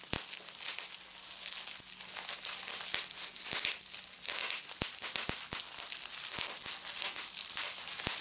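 A large thin sheet of clear polyethylene bubble wrap with air-filled bubbles, lying on a cloth, is gathered and squeezed in a fold by both hands with red-painted nails. The result is steady bright crinkling with many sharp pops of the bubbles scattered throughout.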